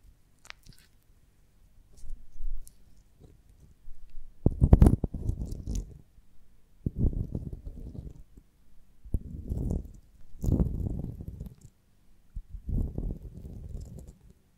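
Long nails scratch and tap the waxy surface of a beeswax honeycomb on a branch, slightly worn and with a small hole. The result is several short bursts of dull, muffled scraping and crackling with quiet pauses between them. The sound is mostly low-pitched, with almost no brightness and no ringing after each touch.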